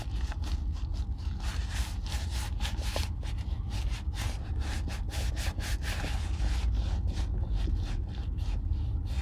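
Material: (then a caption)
Leather. A gloved hand rubs oil into the toe and sides of a hollow brown leather Red Wing Weekender Chukka boot held in one hand. The sound is a steady run of soft, rhythmic rubbing strokes with bright, airy swishes over a constant low rumble.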